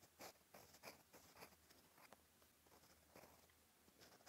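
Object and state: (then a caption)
Pen nib scratching on a paper page. A steel fountain pen nib scratches across a flat, cream, lined paper notebook page while writing Korean characters. The quiet sound is a series of short, bright, dry scratches and ticks in irregular strokes with brief pauses between them.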